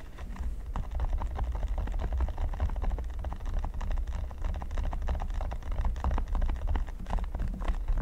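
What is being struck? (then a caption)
Silicone pyramid mat. Both hands scratch short nails rapidly across the studs of a flat, solid red silicone pyramid mat. The result is a dense, continuous patter of soft, dry scratches and taps that never pauses. A low rumble sits underneath the whole sound.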